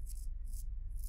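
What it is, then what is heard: Coarse stiff-bristle paintbrush. A coarse, stiff horse-hair bristle brush for oil painting is rubbed or flicked by hand, giving off short bright, scratchy rattling bursts of bristle noise. A steady low hum sits underneath throughout.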